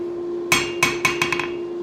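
A hammer taps six times on a steel anvil that sits on a wooden stump and has an area filled with foam. Each tap gives a bright metallic ping centered near 2.2 kHz that fades quickly over a steady low background hum. Much of the anvil's ring is gone, though a little remains.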